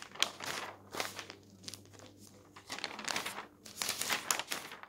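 Fingertips flip the thin newsprint sheets of a paper newspaper lying open on a table at the comics and puzzle pages. Bursts of bright, crisp crinkling and rustling rise and fade as the pages turn, with a faint low hum underneath.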